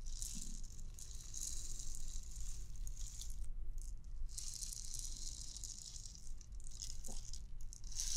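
A transparent, hollow clear plastic bauble ornament with loose white beads inside is held up and shaken, so the beads rattle in a continuous bright, hissing clatter. The rattling briefly drops away near the middle before resuming, over a steady low rumble.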